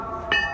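An old metal station bell, likely a leftover from Surabaya Pasar Turi station, stamped with the number 7827 but no maker's name, is shaken and still rings. A single bright strike sounds over a steady tonal background, giving a clear metallic ring centred near 1.8 kHz that decays over about a quarter of a second.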